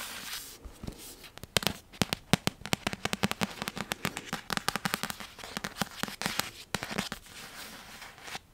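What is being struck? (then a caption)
Paperback book with paper cover. A thick paperback of Harry Potter and the Goblet of Fire, a solid paper book held up, has its paper cover tapped with long nails and fingertips. A quick, irregular run of many sharp, dry, bright clicks rises over a soft hiss, each tap dying almost instantly with a faint low papery thump beneath.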